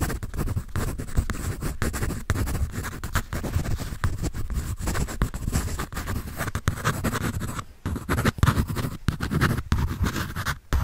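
A graphite pencil scribbles across the sheet of a paper sketch pad held upright, making a steady, dry scratching sound with short rapid strokes. The scratching runs almost continuously, with a brief pause near the eight-second mark before the strokes pick back up and fade near the end.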